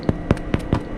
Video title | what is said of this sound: Episódio 1 - #paodasbeatas | Ouve-se o barulho oco que tem que se ouvir no pão. Tem que se ouvir este barulho.